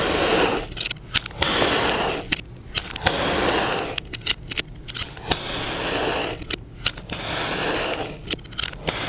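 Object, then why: Mound of kinetic sand cut with a knife. A utility knife held by the fingertips slices horizontally through a solid, egg-shaped yellow kinetic sand mound, cutting it into slabs, with an untouched blue sand dome nearby. Long, bright, grainy hissing strokes of blade scraping through sand alternate with quieter gaps full of short, sharp ticks and crackles as the slabs separate.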